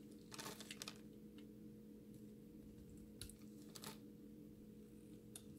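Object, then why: Bar of soap cut with a metal blade. An orange utility knife's metal blade cuts and scrapes into a solid, palm-sized green bar of soap that is held in the hand and already scored into a grid. Short, bright, crunchy scraping bursts come in scattered clusters over a steady low hum.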